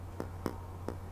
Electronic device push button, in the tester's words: there's no Hollow sound to it it feels very positive there's no rattling in the device at all